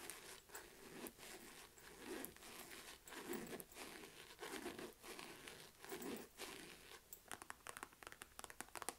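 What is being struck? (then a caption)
Faux leather quilted wallet purse. Long nails tap and scratch the stitched front of a small, hollow, mustard yellow chevron-quilted faux-leather wallet-on-chain. Slow, swelling scratching strokes give way to a quick run of sharp, dry taps near the end.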